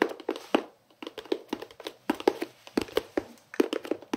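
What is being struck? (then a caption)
Plastic pencil case. A hollow white-and-green pencil case, likely plastic, is held in both hands and tapped rapidly with the fingertips on its flat face. Quick, dry, hollow taps come in clustered bursts with brief pauses, with a mid-range knock and almost no ring.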